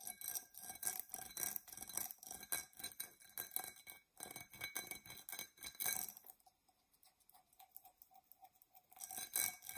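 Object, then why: Glass drinking tumbler. Long nails scratch and tap rapidly on a tall, hollow, empty dark purple embossed tinted glass tumbler, producing bright, crisp clicks and scrapes with short glassy rings. The tapping is quick and dense at first, softens to lighter, sparser taps in the later part, then grows louder again at the end.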